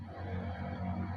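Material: Nothing is struck.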